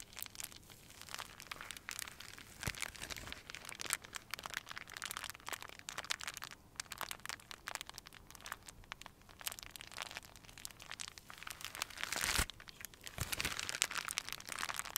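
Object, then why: Clear plastic wrap. A small ball of clear crinkly plastic wrap is squeezed and crumpled in both hands with the fingertips. The result is a steady stream of dense, bright crackling and crinkling, with many sharp snaps that rise and fall in loudness and little low end.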